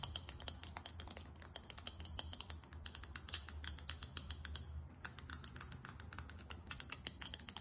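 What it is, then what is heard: Glass perfume bottle. Long acrylic nails tap fast on a small, chunky faceted glass perfume bottle with a thick glass or metallic finish and a chrome cap. About 55 quick, bright clicks patter in an uneven stream over a low, steady hum, each dying away almost instantly.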